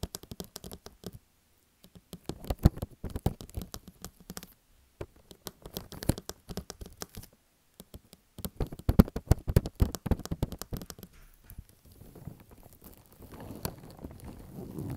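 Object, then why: Plastic cling film stretched over a table. Thin clear plastic cling film stretched over a white table is tapped and scratched with the painted fingernails of one hand. Quick crackly taps and scratches come in bursts with brief silent gaps, ending in a softer, steadier rustling scratch.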